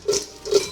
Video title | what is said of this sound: The Best Korean Fried Chicken Wings... Without Frying? | you can hear how lovely lovely and crispy they are